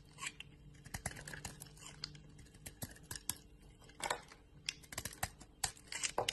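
A utility knife blade scrapes and cuts into a bar of soap with a solid white core and yellow remnants, held in a hand with long nails, shaving it into crumbly chips. Quiet, bright, crisp scraping is broken by a quick series of sharp, short clicks and cuts, with a faint low hum underneath.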